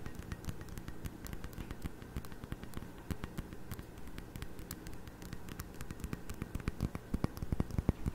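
A small, heavy, faceted glass tumbler partly filled with water is held in both hands close to the mic while fingertips and nails tap around its sides. Rapid, irregular taps make short, dry clicks with a soft low thump and bright tick edges, growing a little louder toward the end.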